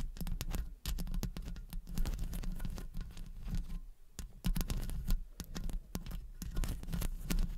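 Long blue acrylic nails tap and scratch the hollow metal mesh grille of a silver condenser microphone from both sides. The result is a dense, rapid patter of short clicks and scrapes over a heavy, low, boomy thump, with each tap dying away almost at once. There is a brief lull near the middle before the tapping picks up again.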